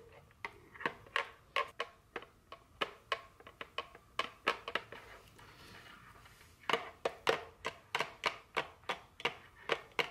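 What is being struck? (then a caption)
Small cardboard candy box tapped with fingernails. Very long fingernails tap a small printed cardboard dark chocolate candy box, first while it is held and then as it rests on a table. About 27 crisp, bright, hollow-sounding clicks come in quick, uneven runs, each dying away almost at once. A quiet, soft rustle fills a short pause in the middle.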